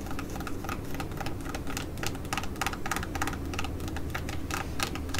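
Long nails tap and scratch across the surface of a flat, orange, glossy laminated plastic foil patch mask pouch. Quick, irregular bright clicks mix with crinkly scratching over a steady low background rumble.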